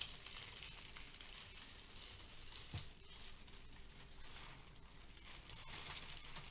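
Fingertips with long nails grab, lift and squeeze handfuls of brown crinkle-cut kraft paper shred filler resting on a white foam sheet. The result is a steady, quiet, bright crinkling and rustling with a dense crackle throughout, and a brief soft low bump near the middle.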